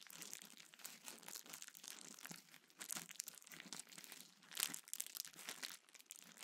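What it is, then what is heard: Plastic bubble wrap. A small sheet of clear plastic bubble wrap is held in both hands, squeezed and crinkled while bubbles are popped with fingertips. The result is quiet, continuous bright crinkling with almost no low end, broken by sharp, short pops, the loudest burst coming just past the midpoint.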